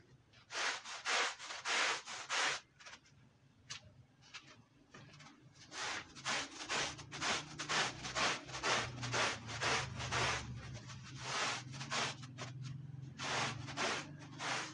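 A long-handled push brush scrubs a wet, dirty, red woven wool Persian rug in rhythmic back-and-forth strokes, about two per second. Each stroke is a bright, hissing rub, with a brief quieter lull near the start and a low hum underneath the later strokes.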